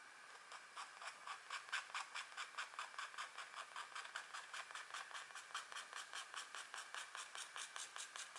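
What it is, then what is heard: Scratch art paper being scratched. A thin, flat scratch art sheet, a black coating over a metallic layer, lies on a table. A hand with long nails scratches it with the metal tip of a green-handled wooden stylus while the other hand rests on the sheet. About 30 short, dry, raspy strokes come in a quick, uneven rhythm, their scratchy hiss centered around 1.5 kHz and reaching bright highs, with almost no low end.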